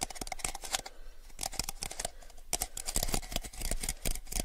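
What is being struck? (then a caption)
Small clear plastic cup. A small, clear, empty hollow plastic cup is held in both hands and tapped rapidly with the fingertips. The result is a dense stream of short, crisp clicks with bright highs and a light hollow tone around 750 Hz. Each tap dies away almost instantly.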